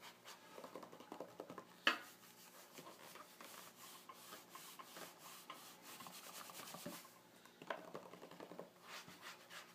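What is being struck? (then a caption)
Glossy paper magazine page. Fingertips rub and scratch back and forth across the glossy paper page of an open magazine spread printed with "She'll be right mate." The result is a soft, dry, bright scratching and rubbing texture, with one sharper, louder scrape standing out early on.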